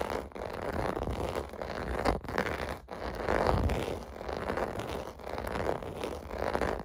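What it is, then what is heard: Plastic bubble bath mat. Fingertips and nails scratch across the raised round bubble domes of a large, flat, clear blue plastic (vinyl) bath mat lying on carpet. The result is a steady, rough, rasping scratch with a low rumble, rising and falling in long strokes with brief dips between them.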